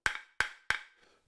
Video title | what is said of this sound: Setting up a Japanese kanna - part 3 - fitting the blade and chip breaker to the dai | I can feel it when I tap it it's solid